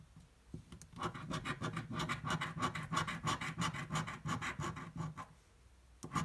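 The edge of a metal coin scratches a yellow thin paper or card scratch-off lottery ticket lying flat on a dark table. It makes quick, fairly regular rasping strokes, about three per second, with a papery midrange scrape around 1.1 kHz and a soft low thud under each pass. After a brief lull near the end, one last short burst of scratching follows.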